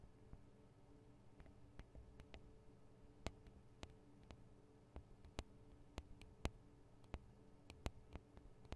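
Long acrylic nails tap and scratch on the two small, hollow metal and plastic microphone capsules of a Tascam DR-40 recorder. About twenty sharp, dry clicks ring bright and die out almost instantly. They sit over a quiet, steady low hum.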